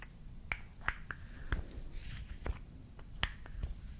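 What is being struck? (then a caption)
Small painted wooden toy lip balm. A small, solid painted wooden toy lip balm with a pink cap and red stick, held in both hands, is tapped and scratched with long nails while its cap is pulled on and off. Crisp, dry clicks stand out against a low, quiet background, each dying away almost instantly, with a brief soft scratching in between.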